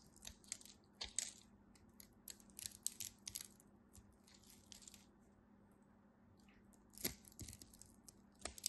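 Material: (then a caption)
Soap. A utility knife blade flakes small cubes off a solid beige soap bar cut into a grid, making quiet, bright, crisp crunching and crackling bursts in irregular clusters. The sound is dry with no ring, over a faint steady low hum.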